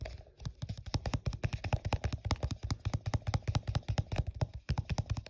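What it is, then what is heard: Plastic cup. Fingers rapidly tap and scratch the side of an empty, hollow, translucent printed plastic cup held in the hand while it is turned. The result is a quick, steady run of short, dry, hollow thumps, mostly low in tone, with light scratchy clicks between them and almost no ring after each tap.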